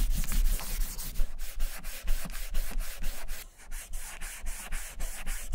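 A gloved hand rubs dye remover into the surface of a large, hollow, vintage German leather satchel with a cotton ball held in metal tweezers. It produces a steady run of quick back-and-forth strokes, each a bright, breathy scrubbing hiss over a low rumble. There is a brief lull partway through before the rubbing picks up again.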